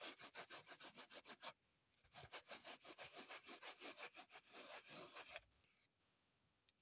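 Long nails scratch and dig into a green floral foam brick held in the hand above a table covered in foam crumbs. A fast run of bright, crumbly scraping strokes stops briefly, then resumes as a denser stretch of scratching before fading to near silence with one faint click at the end.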